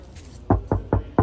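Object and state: Untreated car body panel, resonant knock.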